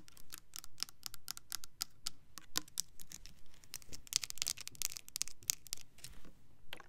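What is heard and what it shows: Long nails tap and scratch the body and pump neck of a Bath and Body Works Cranberry Peach foaming hand soap bottle, a clear plastic bottle with a diamond texture filled with liquid. Quick, dry, bright clicks come in an uneven patter, mixed with short scratchy rasps, and each tap dies away at once with no ring.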